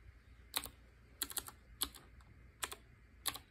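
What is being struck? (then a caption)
Mechanical keyboard with round keycaps. Fingertips with short painted nails type on a black Qwerkywriter typewriter-style mechanical keyboard, a BIOHAZARD collaboration edition with round chrome-ringed keycaps. Sharp, bright key clicks come in uneven single strikes and quick pairs. Each click is crisp with almost no ring, set against a faint low hum.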